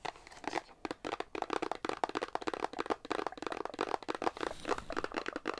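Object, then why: Paperboard box holding a soap bar. A small paperboard Irish Spring bar-soap box with a soap bar inside is held up in both hands and tapped and scratched with long nails. Dense, rapid clicky taps and dry crinkly scratches sound close up, with very little low end and almost no ring after each touch.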